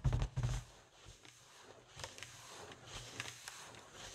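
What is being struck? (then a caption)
Inflated foil (mylar) balloon. Long acrylic nails tap and scratch a large, inflated white foil (mylar) balloon, hollow and air-filled. A couple of loud, booming low thumps open the clip, followed by quieter, irregular taps and crinkly, bright scratching across the taut foil surface.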